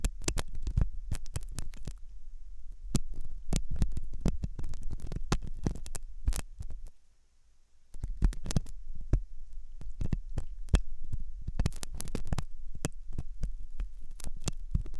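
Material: Silicone.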